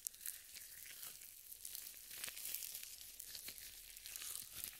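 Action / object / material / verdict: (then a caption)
scrape / nitrile gloves with lotion / nitrile / none. Purple nitrile gloves coated with lotion are rubbed and wrung together palm to palm and across the fingers close to the mic. The result is a continuous, quiet, bright squelching and crinkling texture with crisp sticky snaps and almost no low end.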